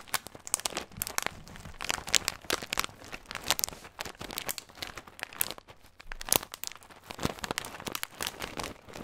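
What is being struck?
Thin plastic bag filled with nuts.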